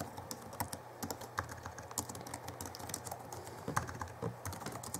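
Both hands type with their fingertips on the backlit chiclet keyboard of a 2011 Alienware M11x2 laptop with plastic keys. The result is a rapid, steady stream of short, crisp plastic key taps with a soft low thump beneath and bright clicky edges, each dying away almost at once.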